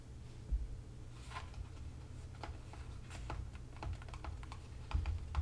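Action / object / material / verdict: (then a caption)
tap / small cardboard box / cardboard / none. Fingertips tap the top and sides of a small upright CB2 cardboard product box, hollow and likely holding a bottle. Light, dry, papery taps come in an irregular string over a steady low rumble, each fading quickly.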